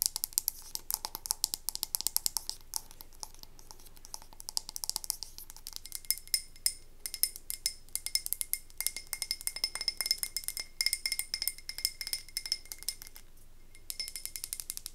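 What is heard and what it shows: Long nails rapidly tap and click on a medium, wax-filled frosted glass candle tumbler held in the hands. The result is a fast, dense stream of sharp, bright clicks that die away almost instantly, with a faint high ring and a quiet background.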